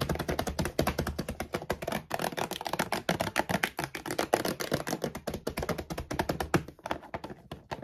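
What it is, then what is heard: Plastic dog food bag. Long nails and fingertips tap and scratch fast across a full laminated plastic dog food bag lying flat. A dense run of quick, dry crinkly taps and scrapes, with short thuds and bright rustle, continues without pause.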